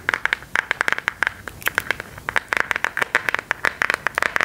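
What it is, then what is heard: Smartphone in hard plastic case. A smartphone in a hard plastic case with a silver and black decorative print is held up and tapped with long gold metal claw nails. A rapid, irregular run of crisp, clicky taps is heard, each with a bright, hard plastic tick that stops almost instantly with no ring.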